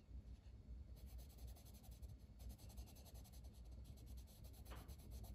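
A dark green wooden colored pencil colors a flat paper page of a coloring book in short strokes, its lead rubbing the paper. The result is a quiet, continuous scratchy rubbing with faint bright, hissy strokes over a steady low rumble.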